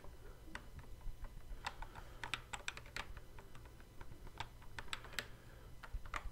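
Fingertips tap and press the plastic fret buttons on the neck of a hollow, hard plastic Guitar Hero guitar controller. The result is a quick, uneven run of short, dry clicks with bright, crisp edges over a low steady hum.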